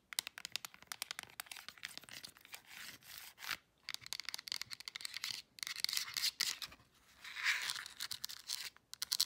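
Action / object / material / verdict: tap / plastic remote control / plastic / none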